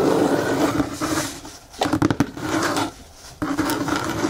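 Fingertips and nails tap and scratch the top edge of a medium brown corrugated cardboard box with its flaps partly open. Dry scratching with a hollow, boxy tone fades briefly, then a quick cluster of short, sharp taps follows. After a quieter pause, the scratching starts up again.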